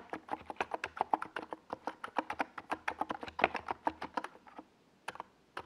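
Fingertips type steadily on a small 68-key NiZ Plum Atom 68 mechanical keyboard, with a white plastic case and purple and yellow plastic Domikey Gas Attack SA keycaps, resting on a desk pad. About 32 quick, clacky keystrokes land in a fast, uneven rhythm, each a short mid-pitched plastic click with a bright edge. A brief pause near the end is followed by a few final strokes.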